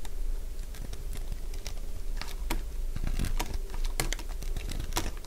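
A utility blade cuts into a partly carved, solid cream-coloured bar of dry soap, shaving it into curls. Quick, dry crackles and crisp clicking snaps come in a rapid, irregular run over a steady low background rumble.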